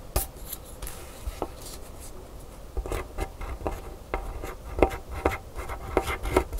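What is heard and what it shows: A wooden stylus scratches letters into the coating of a flat, thin black scratch-art paper card lying on a table. Short, dry scratching strokes and soft taps come in an uneven run, quiet at first and then denser and sharper toward the end. Each stroke stops at once with no ring.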